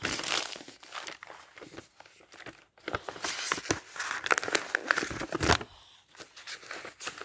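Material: Paper.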